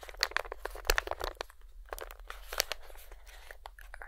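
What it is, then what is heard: Crinkled plastic treat pouch. A hand-sized, filled-looking Feline Greenies cat treat pouch, plastic and foil-lined, is crinkled and turned over in both hands with the fingertips. Sharp, bright crinkles and crackles come in quick irregular bursts, loudest near the start, over a steady low hum that runs throughout.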